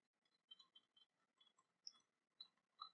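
Long painted nails tap and scratch along the sculpted surface of an ornate, silver-coloured cast-metal dragon dagger, sheathed and lying on cloth. Eight quiet, bright, high-pitched clicks and scrapes stand apart, each dying away almost at once, with faint scratching between them.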